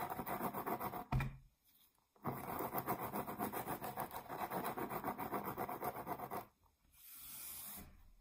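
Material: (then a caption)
Cork. Long nails scratch the face of a flat, solid round cork board, about 20 cm across, held upright, making a fast, dry, raspy scratching. A brief burst ends in a soft thump and a pause, then a long steady run of scratching, another gap, and a softer, brighter rasp at the end.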